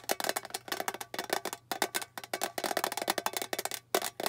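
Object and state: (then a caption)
Small hollow metal tin. A small, flat, hollow rectangular metal tin with a blue lid printed with a silver bow is held in the hands and tapped rapidly with long painted fingernails. The result is a fast, continuous stream of short, dry clicks with a hollow, tinny ring around the mid-range and bright edges, broken by a few brief pauses.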